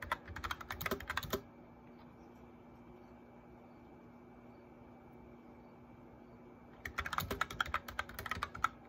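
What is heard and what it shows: Fingertips tap the keys of a white backlit plastic mechanical keyboard in quick, uneven bursts of sharp, bright clicks. A burst of typing in the first second and a half gives way to several seconds of near silence with a faint steady hum, then typing resumes for the last two seconds.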